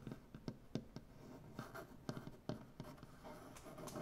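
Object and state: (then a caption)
Wooden butcher block tabletop being scratched. One hand scratches a solid, light wooden butcher block tabletop with its nails. Short, dry scraping strokes and sharp little knocks sound against a quiet, soft rustle, with a low woody body and very little ring.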